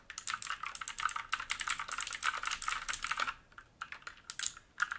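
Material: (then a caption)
Plastic. Fingertips of both hands type on a black mechanical keyboard with plastic keycaps and a metal top plate, resting on a wooden desk. A rapid, continuous run of bright, crisp key clacks fills the first three seconds, then slows to a few scattered, separate keystrokes. The sharp, clicky taps fade almost instantly, with almost no low-end thump.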